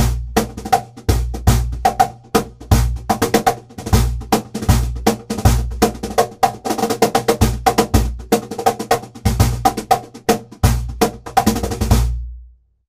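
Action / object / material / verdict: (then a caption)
strike / birch plywood cajon / birch plywood / none. A hollow birch plywood cajon has its front plywood panel slapped and tapped by bare hands and fingertips, alternating between the upper corner and the centre. Deep, booming centre strikes around 59 Hz trade off with sharp, snappy corner slaps in a quick, loose groove of many short hits that die away fast.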